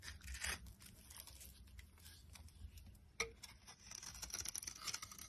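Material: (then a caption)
Soap. A box cutter blade shaves the surface of a solid yellow bar of soap held in the hand. The result is quiet, dry, bright scraping and crisp shaving sounds, with a sharp click partway through and faster bursts of light scratching near the end.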